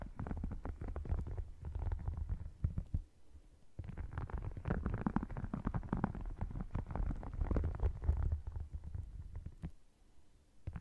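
Short nails scratch and tap across the surface and edges of an open red faux crocodile leather wallet with a croc texture. The result is a dense, low, rumbling run of scratches and quick taps with almost no bright content. It dips quiet briefly around three to four seconds and again near the end.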